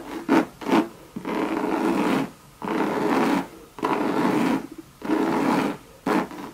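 Long red nails scratch a hollow Louis Vuitton monogram bucket bag of coated canvas with leather trim. Two short quick scrapes are followed by four longer sustained rasping strokes, with brief pauses between them. Each stroke gives a dry, mid-pitched scratching texture.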